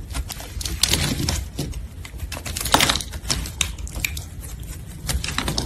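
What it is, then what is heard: Translucent soap bar being sliced. A solid red translucent soap bar, held in a gloved hand, is sliced into thin strips with a metal blade. A quick run of crisp, bright cutting clicks and scraping crackles follows one after another over a low, steady background rumble, each stroke dying away fast.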